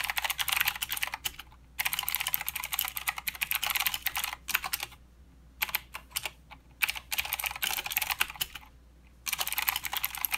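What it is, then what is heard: Plastic mechanical keyboard. Fingertips of both hands type continuously on a full-size mechanical keyboard with plastic keycaps and blue clicky switches. Bursts of rapid, bright, sharp clicks run together in fast streams, broken by a few short quiet pauses.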